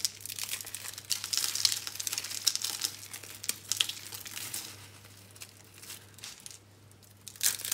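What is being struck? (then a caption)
Soap curls. A cluster of small, hollow, dry green-and-pink soap curls is scooped up and crushed between bare hands above a pile of soap crumbs. The result is a dense run of bright, dry crinkling crunches over a faint low hum. The crunching eases to quieter crackles near the end before a final loud burst.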